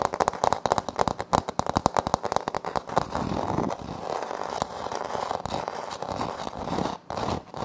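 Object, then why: Wood-look laminate floor panel. Both hands tap and scratch quickly with fingertips and short nails on a flat, solid wood-look laminate floor panel with a light wood-grain print. Rapid, crisp dry taps come first, then settle into a steady, continuous scratching texture centered around the mids, with short dropouts near the end.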